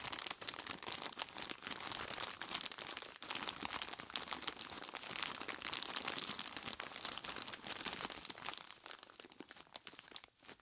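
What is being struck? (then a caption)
Plastic bag of ice cubes. Hands in blue nitrile gloves squeeze and rub a large clear plastic bag full of ice cubes. Dense, bright crinkling of plastic mixes with the crunch and clatter of shifting ice, with almost no low end. The sound runs steadily for about ten seconds before thinning out and fading at the end.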